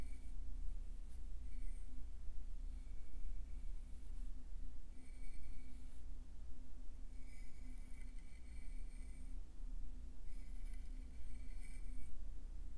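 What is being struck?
Nothing is struck.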